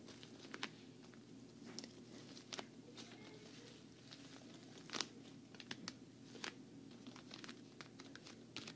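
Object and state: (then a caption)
Vinyl travel case, nail tapping and scratching. A medium, hollow, black glossy quilted patent-vinyl makeup travel case is held close while long nails tap and scratch its quilted front. Quiet, bright, crinkly scratching is punctuated by short, sharp clicking taps that die away almost instantly over a faint low hum.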